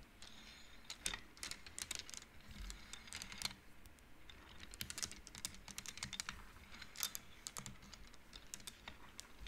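Hands slide painted wooden beads along the rods of an upright wooden-frame abacus, and the beads click against each other. Many short, bright, dry clicks come in quick clusters with brief pauses, peaking around 3.7 kHz over a soft low rumble. Each click stops almost at once, leaving a quiet, steady clatter throughout.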